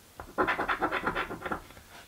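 A coin held between the fingertips rubs the scratch-off coating off a thin card crossword lottery ticket lying flat on a table. About nine quick, raspy scratching strokes are heard in a row, dry and papery, with most of their energy in the midrange.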